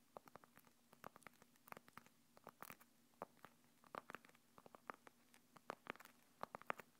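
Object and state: Fabric mesh earphone case.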